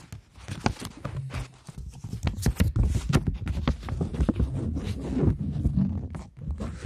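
Long nails tap and scratch a polymer plastic £20 banknote, ending with the note held flat. The result is a close, irregular run of quick dull taps and crinkly scratches, mostly low and thuddy with brief bright clicks and no lingering ring.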